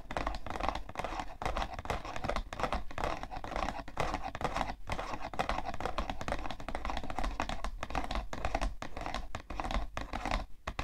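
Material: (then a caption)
Cardboard. Long nails scratch and tap rapidly on the side panel of a hollow, printed cardboard tissue box. The result is a dense, steady stream of dry scratching and quick clicky taps, with a papery midrange and a low hollow body. Each tap dies away almost instantly.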